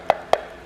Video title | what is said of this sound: The BEST Intake for your C8 Corvette! - AFE Track Series Intake | This thing is super sturdy, very solid